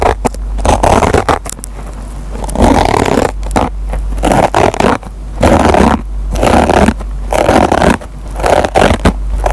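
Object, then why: Kitchen sponge with nylon scouring pad. A metal pen tip scratches and plucks at the fibers of a dry kitchen sponge with a green nylon scouring pad. Rough, crackling scratching comes in repeated bursts, punctuated by sharp little plucks and short pauses between strokes.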